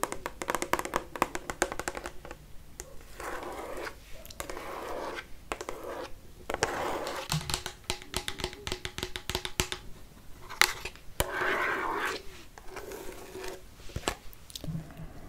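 A hollow pink plastic shampoo bottle with a green cap, about 20 cm tall, is tapped and scratched with long fake nails. Rapid, dry clicking taps mix with bursts of hissy scratching along its surface. Each tap dies away almost instantly, giving a bright, crisp texture.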